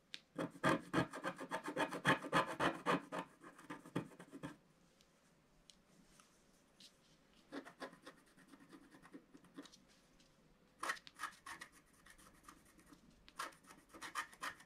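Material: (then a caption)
Wax. A wooden stylus scratches across the reindeer area of a black, wax-coated scratch art card lying flat. Quick, rhythmic, dry scratching strokes come in a dense burst for the first few seconds, then pause to quiet. Shorter, lighter bursts of strokes follow, with a faint steady tone humming underneath.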